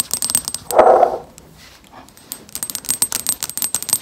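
Long acrylic nails tap and scratch a hollow, medium white and pale pink plastic lotion bottle with a large-letter label, held close up. Quick, bright, clicky taps are broken by a louder, fuller scratching burst near the start. A short quiet pause follows, then rapid tapping resumes to the end.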